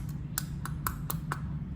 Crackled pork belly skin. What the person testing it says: you want that to sound hollow